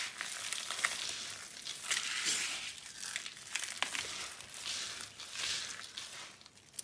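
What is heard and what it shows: Both hands with painted nails press, rub and crush a pile of small, dry, brittle red and white soap fragments on a blue surface. The solid pieces give a dense, bright, continuous crunching and crackling under the palms and fingertips, with sharp snaps poking out and almost no low end.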